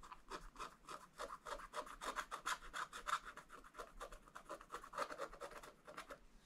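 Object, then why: Wax-coated scratch art paper scratched with a wooden stylus. A wooden stylus scratches and rubs across a black, wax-coated scratch art page in a spiral book to fill in areas. It makes a quick, uneven series of short, dry rasping strokes. Each stroke is centered in the mid range around 1.3 kHz with a faint bright hiss and little low end.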